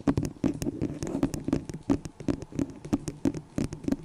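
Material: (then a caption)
Plastic. Long nails tap on a small, hollow, empty white disposable plastic cup held over the microphone. The taps come in a quick, irregular patter, each a short, dry, hollow knock with a low resonance around 270 Hz and almost no ring.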